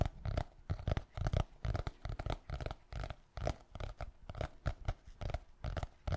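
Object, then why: Hardcover notebook with board cover. A small, solid black hardcover notebook has its board cover tapped and scratched with fingertips and nails. The result is a quick run of soft, dull, low thuds mixed with brief scratchy rustles, each dying away almost instantly.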